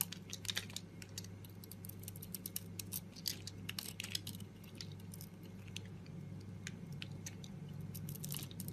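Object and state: Bar soap being shaved.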